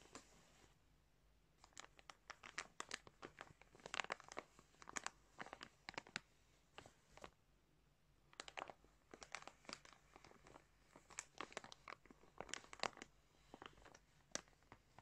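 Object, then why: Plastic bag of yarn. Fingertips tap and rub a large clear plastic bag full of multicoloured yarn. Quiet, bright crinkling and crackling comes in quick clustered bursts separated by short pauses, each burst dying away almost at once.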